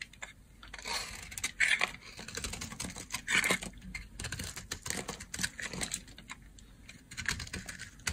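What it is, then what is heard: Dry bar soap. A solid lilac bar of dry soap is held in the hand and carved with a utility knife blade, and strips flake off. Many quick, dry, bright scraping and crackling cuts come one after another, each with almost no ring, over a quiet background.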